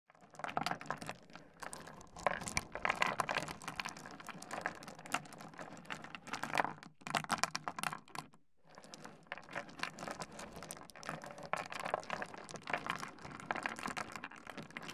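A heap of small, solid, tumbled stone pebbles on a wooden desk is rummaged and rubbed by the fingertips of both hands, so the stones click and clatter together. The result is a dense stream of short, dry, bright clicks with no ring, briefly pausing near the middle before continuing.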